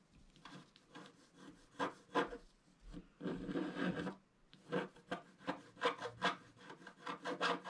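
A wooden stylus scratches across a flat, black-coated scratch-art card. It makes a series of short, dry, raspy strokes at an uneven pace, with one longer continuous scrape in the middle.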